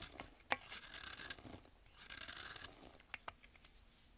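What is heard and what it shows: A metal blade scrapes and shaves a compacted, solid pressed baking soda block held in the hand over a bowl, so powder and thin shavings fall. The sound is a quiet, bright, dry rasping and scratching, broken by short crisp crunches and clicks, with almost no low end.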